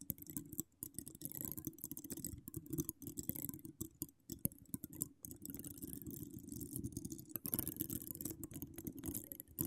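Long decorated acrylic nails scratch across a hollow metal mesh microphone grille, producing a dense, continuous scratching with a heavy low rumble and a faint bright hiss. The rough texture runs steadily, broken only by a few brief pauses.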